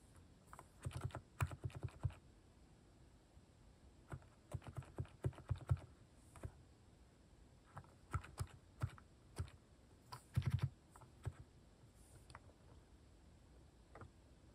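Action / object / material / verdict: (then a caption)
tap / plastic mechanical keyboard keys / plastic / none. Fingertips type on a plastic mechanical keyboard fitted with cat-shaped plastic keycaps, with key presses coming in uneven bursts and brief pauses between them. Each keystroke is a short, dull clack with a low thump and a quick bright click that stops almost at once.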